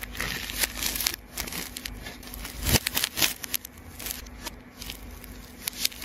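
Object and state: Plastic tape ball being cut.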